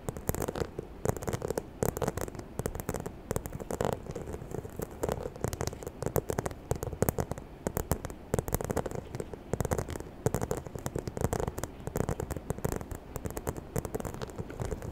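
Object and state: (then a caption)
Faux leather handbag. Long nails tap and scratch across the front of a small, hollow white croc-embossed faux leather handbag with a zipper and a chain handle. The result is a dense, continuous run of quick, dull taps with a soft scratchy crackle. The sound is mostly low and muffled, and each tap dies away almost instantly.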